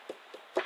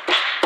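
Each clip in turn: First: secure car tail light, no rattle. Second: loose rattling car tail light.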